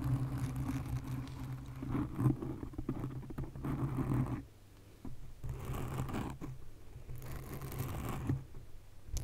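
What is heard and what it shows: Long nails scratch the top and sides of a black foam windscreen on a condenser microphone. The scratching makes a low, rumbling, purr-like crackle with uneven bursts, briefly dropping out around the middle before resuming.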